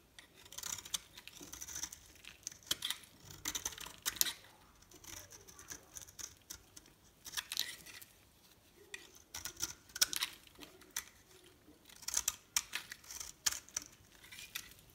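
A solid rectangular bar of dry soap with a blue shell and cream core, held in the hand, is carved and scored with a metal blade, with flakes falling off. Quiet, bright, crisp scraping and crackling comes in bursts of short, dry clicks with almost no low end and no ring.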